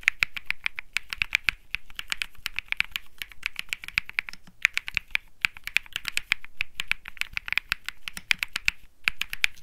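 Fingertips type continuously on a compact Think 6.5 mechanical keyboard with an aluminum case, PC plate, plastic keycaps and Bsun Lollipop switches. A rapid, steady stream of short, bright clacky keystrokes centers around 2.4 kHz and has almost no ring-out, with brief lulls near 4.5 and 9 seconds.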